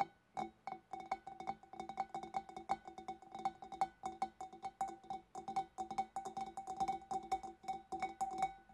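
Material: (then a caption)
Glass. Long black nails tap rapidly on the shoulders of a large, hollow, empty clear glass fish bowl, then on its sides from behind. Each quick, light tap gives a short glassy ping with a steady ringing tone near 785 Hz and a bright click on top, fading almost at once. The taps come in a dense, uneven stream throughout.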